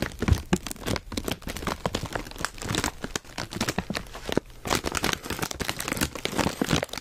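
Hands squeeze and crinkle a full, foil-lined plastic Zapp's potato chip bag while fingertips tap it, making dense, continuous crackling and crinkling. Sharp, bright crackles and dull low taps come in rapid bursts, with a brief quieter pause partway through.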